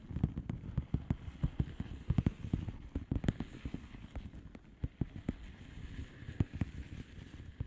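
Long polished fingernails rapidly tap and scratch a flat blue plastic bubble wrap envelope. Quick, dull, crackly clicks come over a soft scratchy rustle, with the sound mostly low and little bright content. Each tap dies away almost instantly.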